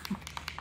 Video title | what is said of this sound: Zen Art Supplies 17 Brush Set - REVIEW | you've got to shake it you can hear a ball in there you got to shake it till you hear that ball